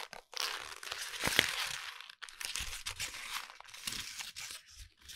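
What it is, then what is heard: Crumpled lined paper. A balled-up sheet of lined notebook paper is rubbed, squeezed and crinkled by fingertips close to a microphone. Dense, bright crackling and crunching bursts come and go in quick irregular waves, with little low end and almost no ring after each crackle.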